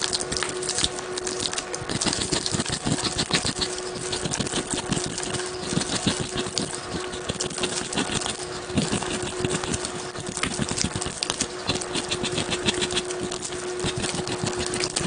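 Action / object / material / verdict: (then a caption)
scrape / gym chalk block scraped with a plastic comb / chalk / none. An orange plastic scraper or comb is scraped rapidly across the face of a large, solid gym chalk block held in one hand over a pink basin of water, shedding chalk flakes. A dense, continuous run of quick, bright scratching strokes holds steady throughout, over a faint low steady hum.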